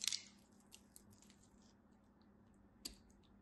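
A utility knife blade flakes cubes off a solid beige soap bar cut in a grid. A bright, crisp crunch opens the clip, followed by a few faint ticks and a second sharp crack near the end. A faint, steady low hum runs underneath throughout.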